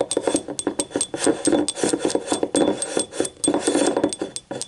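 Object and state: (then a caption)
Ceramic cup. Long nails tap and scratch the rim and ribbed wall of a small yellow ribbed ceramic cup, hollow and empty, lying on its side. Quick, dry clicks with a hollow mid-range knock mix with short scraping strokes, each sound dying away almost at once in an uneven, busy rhythm.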